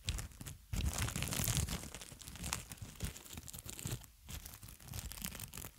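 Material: Plastic film.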